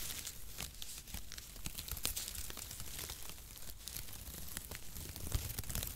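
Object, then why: Shredded cardboard packaging. Long strips of mesh-cut cardboard packaging shreds, stretched and draped across both hands, are pulled and rubbed around a microphone. The result is a steady, dense crinkling and rustling with bright papery crackles, sharp tearing-like snaps and a low rumble underneath.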